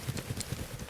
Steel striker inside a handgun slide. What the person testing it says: the striker or firing pin is not being allowed to move in its channel and therefore functioning as it should